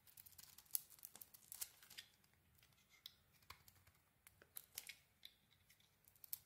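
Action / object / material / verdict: scrape / bar of soap cut with a small metal blade / soap / none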